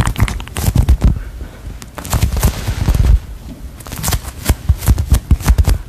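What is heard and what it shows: A small solid polyurethane foam waffle squishy with a face is squeezed and tapped with long nails close to the microphone. Rapid, dry, deep thumps and crackly taps come in bursts, with softer squishing in the quieter stretches between them. Each tap dies away almost instantly.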